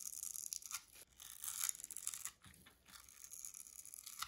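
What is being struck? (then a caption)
Bar of soap scraped with a metal needle. A thin metal needle scratches and scores grid lines into the surface of a pink rectangular bar of dry solid soap held in the hand, with crumbs falling away. Quiet, dry, bright scraping strokes come in short bursts and pauses, with almost no low end and no ringing.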